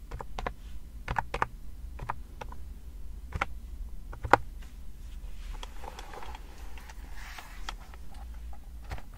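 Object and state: Plastic keyboard keys tapped with nails.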